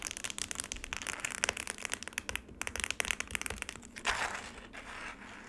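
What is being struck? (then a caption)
Frozen lemonade ice slab in a plastic tray. Long nails grip the edges of a black rectangular plastic tray holding a solid frozen lemonade slab with a crushed-ice patch, then scratch across the icy surface. Dense, bright crackling ticks and crunchy scrapes run throughout, with a louder rasping sweep near the end that fades to a soft hiss.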